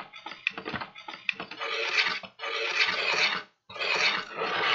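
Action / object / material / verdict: scrape / kraft paper bag / paper / none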